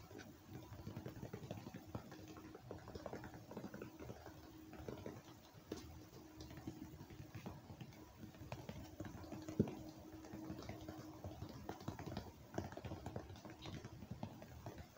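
A hollow red-and-white plastic ice cream tub, held in one hand, is tapped on its side with the fingertips and nails of the other hand. The result is a steady stream of quiet, dull, low-pitched taps and soft patter that die away almost at once, with a faint steady tone underneath.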